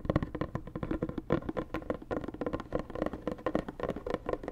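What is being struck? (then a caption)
Rigid cardboard box. Long nails tap rapidly on a hollow, white rigid cardboard Dior gift box. The result is a quick, uneven run of short, dry, hollow knocks with a low, boxy resonance that dies away almost at once.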